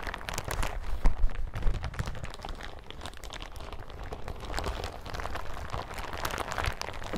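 Hands and fingertips crumple and scratch a bunched yellow plastic hazmat suit, making dense, continuous crinkling and crunching with a heavy low rumble underneath. The handling is loudest in the first two seconds, then settles into a quieter, steady rustle of sharp, quick-fading crackles.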